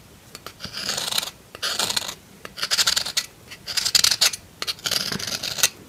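A metal knife scrapes and carves a solid pink bar of soap in many short strokes. Dry, bright scratchy shaving bursts alternate with brief pauses and small clicks, with almost no low end. The strokes come in uneven bursts rather than a steady rhythm.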